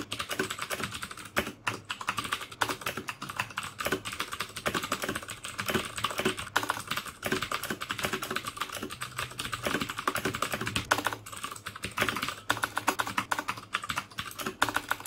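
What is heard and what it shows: Fingertips type steadily on the keycaps of a black plastic mechanical keyboard with clicky Cherry MX Blue switches. The sound is a fast, continuous stream of sharp, bright clicks and clacks around 1.5 kHz, each dying away almost instantly, with very little low-end thump.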